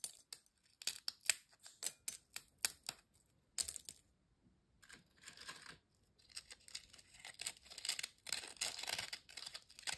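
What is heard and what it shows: A single thin, dry, crisp ridged potato chip is held by the fingertips over an empty glass bowl, then snapped and broken into pieces. A run of sharp, bright cracks comes first, followed by a short pause and denser crackling crunches. The sound is high and brittle, with almost no low end.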